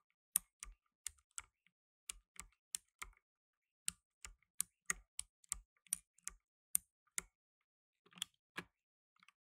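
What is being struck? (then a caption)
Plastic mechanical keyboard keys. Fingertips in blue nitrile gloves rapidly press the plastic keycaps of a black plastic tenkeyless mechanical keyboard while typing. About twenty sharp, bright clicks, each with a faint low thump, come in quick irregular bursts. Every click stops almost instantly, and short quiet gaps separate the bursts.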